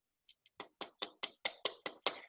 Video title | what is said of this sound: ONLINE Classes Video | when it sounds hollow you know that the fat underneath has also rendered and melted down